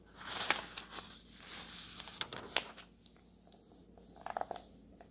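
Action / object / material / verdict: scrape / thin paper map pages of a road atlas / paper / none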